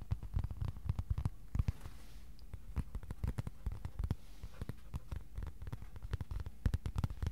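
Fingertips tap rapidly and unevenly on the face of a flat white cardboard sheet held in both hands. The result is a steady run of soft, dull, low thumps that stop short with no ring, with faint brushing noise between taps.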